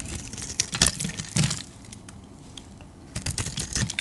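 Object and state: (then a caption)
White bar soap being shaved. A metal utility-knife blade shaves a solid oval white bar of soap held in the hand, cutting off flakes. Crisp, bright scraping and cutting strokes come in quick bursts, with a low, soft body underneath. The strokes quiet down in the middle and pick up again toward the end.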